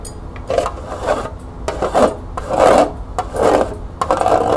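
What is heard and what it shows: Long nails scratch the bottom and sides of a small, hollow, empty green plastic cup, first resting upside down on a table and then held in the hand. The result is a series of dry, raspy rubbing strokes in the mid range, with bright clicks of nail on plastic between them. Each stroke stops quickly, with little ring.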